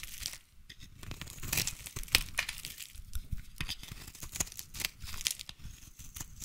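A utility knife blade scrapes and shaves thin curls off a solid light blue bar of soap with an embossed logo, held in one hand. The result is a run of dry, crisp, crackling scrapes with bright, papery texture and quick, tiny snaps. Each stroke stops almost instantly, with no ring.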